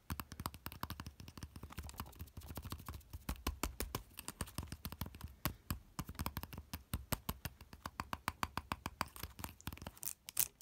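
Fingertips and nails tap and scratch the small, solid, rounded silver metal handle knob of a folded umbrella with a cord loop attached. Rapid, dense clicks and scratches run throughout with a deep low thump underneath, each hit short and dry with bright high ticks.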